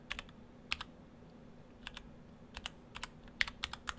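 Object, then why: Mechanical keyboard with plastic keycaps. Fingertips of both hands type on an Orthodox Rev3.1 split ortholinear mechanical keyboard, built in two halves with clear acrylic cases, white and cyan PBT dye-sub keycaps and stock Gateron Brown switches. About fifteen short, crisp, bright clacks come in irregular bursts, each dying away almost instantly. A faint low hum sits underneath the keystrokes.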